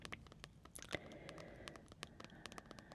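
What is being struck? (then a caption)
Paperback book with glossy card cover. Long dark-painted fingernails of both hands tap and lightly scratch the thick glossy card cover of a large, flat paperback adult coloring book, "Amazing Patterns," lying cover-up on a table. A quick, uneven patter of short, crisp clicks sits over a soft, papery scratching. One louder tap stands out near the one-second mark.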